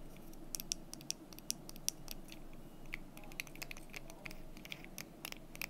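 Long nails tap and scratch the surfaces of a small, painted red-orange wooden desk calendar with solid number cubes and a month bar in a stand, held in the hands. Quiet, sharp, bright clicks and ticks land at an irregular pace, each dying away almost instantly. Soft scratching sits beneath them over a steady low background hum.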